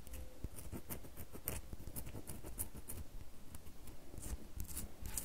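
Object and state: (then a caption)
Bar of soap scratched with fingernails. A small solid red bar of soap is scratched with long fingernails, making a run of quiet, dry, crisp scratches and ticks over a low, soft rumble, with faint bright clicks. Soap shavings fall onto the table.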